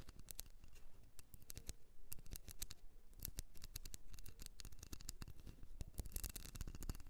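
Long nails scratch quickly across the ridges of a small, solid blue wax candle shaped like a ribbed seashell, held in the hand. Dense, dry clicks and scrapes come in quick bursts throughout, each short and snappy with almost no ring and a soft, muffled low body.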